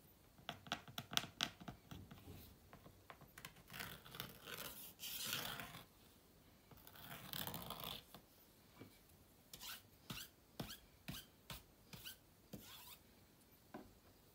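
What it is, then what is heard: Laptop vent grille scratched with a stick. A thin stick or toothpick scratches along the long vent slot and seams on the underside of a closed white laptop while the other hand holds a cloth. Quiet, bright, dry scratches and short ticking scrapes come in irregular bursts, broken by longer rubbing passes. Each sound stops almost at once with no ring.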